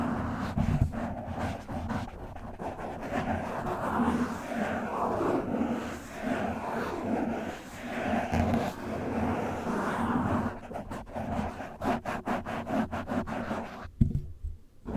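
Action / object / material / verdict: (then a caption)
scrape / foam microphone windscreen / foam / none. A black foam microphone windscreen is scratched and rubbed with the fingertips of one hand. The result is a dense, muffled rustling and scraping that swells and fades. Near the end, sharper, quick scratchy strokes break through.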